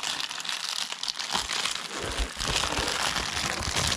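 Yellow rubber-gloved fingers peel and tear open the flap of an Amazon Prime plastic padded mailer bag, crinkling the film. A dense, bright crinkling and rustling continues throughout, with soft low thumps joining in the second half.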